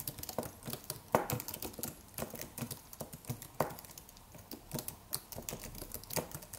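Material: Aluminium, plastic.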